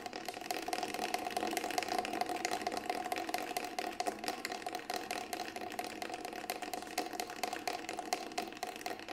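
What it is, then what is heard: Synthetic frame drum shell. Fingertips tap rapidly on the side of a Remo Buffalo frame drum, a large hollow round drum with a grey textured synthetic shell held in both hands. A dense, continuous stream of quick, light taps carries a steady ringing tone around 730 Hz, with almost nothing below 200 Hz.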